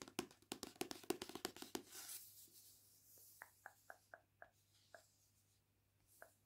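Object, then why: Paperback book with glossy card cover. Long painted nails and fingertips scratch and rub the glossy card cover of the paperback "The Witchery," making quick, sharp clicking scratches, then a softer, airy swishing rub. Sparser crisp taps with a slight hollow ring follow as the book is set on the wooden table.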